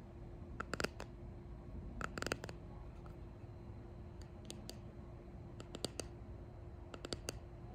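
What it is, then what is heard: Resin box tapped with nails. A small clear resin hexagon box with pressed leaves and flowers inside, held close, is tapped and clicked with fingertips and long painted nails. Sharp, dry clicks come in small clustered bursts, each with a bright edge and almost no ring, over a low steady hum and faint background hiss.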